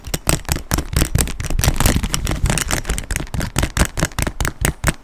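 Fingernails tap on the quilted surface of a black quilted leather handbag close to the mic. The taps come as a quick, uneven series of soft, muffled thuds with crisp clicking tops. Each tap dies away almost at once.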